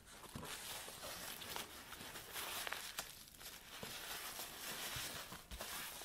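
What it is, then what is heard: Nylon tripod bag being rubbed. An empty black nylon tripod bag is flattened on a table and then rolled up while hands rub and scratch the fabric. A steady, bright crinkling and scraping continues throughout, with a few brief louder rustles standing out.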